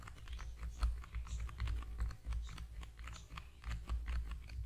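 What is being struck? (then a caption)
Small narrow cardboard box. A small, long, narrow, hollow cream-yellow cardboard product box, held in both hands over a foam-covered microphone, is tapped rapidly with the fingertips. The result is a quick, uneven patter of soft, hollow taps, with a deep low boom under light, dry clicks.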